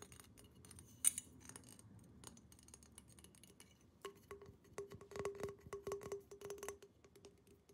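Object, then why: Glass water pipe. A tall, hollow, empty clear glass water pipe with colourful decals and an orange mouthpiece is held in the hands and tapped fast with long painted nails, with rings on the fingers. Quiet ticks and a sharp bright clink near the start give way, after about four seconds, to a busier run of quick taps carrying a steady low glassy ring. Each tap is short and bright with almost no ring.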